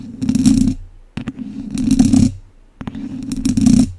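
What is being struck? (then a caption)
Wire-mesh microphone grille scratched with wooden chopsticks. Two wooden chopsticks scratch and tap a hollow domed wire-mesh microphone grille. Three bursts of scratchy, hissing friction over a steady low-mid rumble are each preceded by brief sharp taps, giving dry, close scraping that swells and fades.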